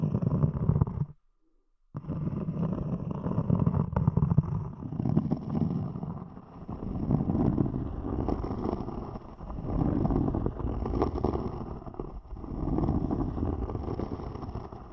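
Long nails scratch the top surface and rim of a thick, round, solid palm-sized cork disc, making a low, muffled, rumbling scrape. The scratching runs in steady waves with a brief silent break near the start.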